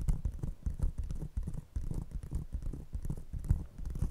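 An empty, hollow brown paper coffee cup placed over a fluffy microphone is tapped and scratched with the long painted nails of one hand, while the other cup is left untouched. A rapid, uneven stream of deep, muffled thumps and soft scraping is heard, almost entirely low and bassy with no bright edge, each tap dying away almost instantly.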